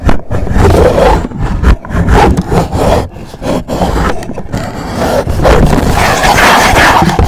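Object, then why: Rigid cardboard gift box. Fingernails on both hands scratch the face of an upright, hollow black rigid cardboard gift box. The result is a loud, rough, continuous scraping with a heavy low, hollow body and little brightness, broken only by brief pauses between bursts.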